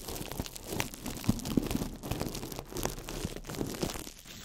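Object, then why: Ball of thin plastic wrap. A small ball of crumpled clear plastic wrap is held in the fingertips over a microphone and squeezed and crinkled. The result is a steady run of dense, crackling crinkles with sharp snaps scattered through, spread from low thumps up to bright hiss. The crackle runs continuously for about four and a half seconds, then thins out at the end.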